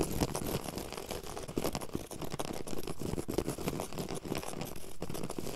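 Long yellow acrylic nails and fingertips scratch and rub quickly across a flat, solid, low-pile woven grey carpet on the floor. A dense, continuous run of fast, dry scratching and brushing strokes, mostly dull and low in tone with little bright hiss, holds steady for the whole clip.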